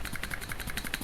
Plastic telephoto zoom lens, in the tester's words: You can hear some clicking because it’s banging one plastic against the other